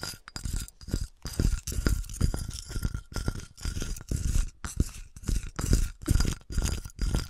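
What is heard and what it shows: Long nails scratch and tap the textured, dotted side and base of a flattened, melted, empty clear glass wine bottle held and tilted by hand. Quick bursts of dry, rasping scratches alternate with short, muffled taps, heavy in low thump with little bright ring. A faint steady high tone runs underneath.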